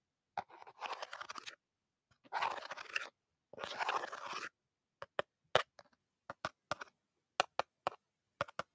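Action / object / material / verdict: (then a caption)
tap / aluminum soda can / aluminum / empty. An empty aluminum soda can that once held grape soda is crinkled and scraped in three short, crackly bursts. It is then tapped with a series of sharp, dry metallic clicks that stop almost instantly, each set apart by brief silences.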